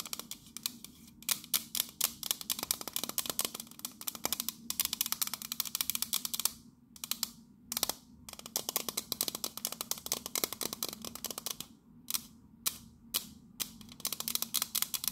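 Long nails tap rapidly on the side of a pink printed metal biscuit tin held tilted. The sound is a dense run of sharp, bright, clicky taps that die away almost instantly, broken by a few brief pauses.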